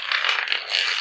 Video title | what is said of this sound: STICKIT - FLOOR TILE REPAIR | rub over the surface you can hear that Hollow sound